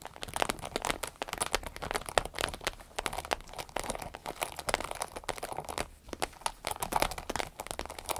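Long red nails scratch along the side and top of a small, hollow, striped vinyl zippered pouch. The result is a dense, steady stream of crisp, crinkly scratches and tiny clicks that reach up into bright highs, with very little low end.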